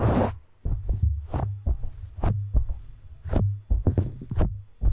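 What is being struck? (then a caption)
Foam microphone windscreen. A large, soft, porous black foam windscreen on a studio microphone is gripped, squeezed and rubbed with the palms and fingers of both hands. This makes a string of muffled, deep thumps, some with brief bright rustling on top, over a low throbbing rumble.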